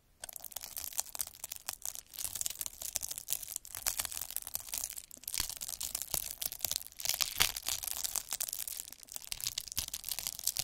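A derma roller with a black plastic handle and a roller of fine metal needles is rolled across a flat sheet of clear, air-filled plastic bubble wrap on a table, its needles crushing and pricking the bubbles. The result is a dense, continuous stream of bright, high crackling and crunching with sharp snaps and almost no low end, rising and falling in waves across the whole clip.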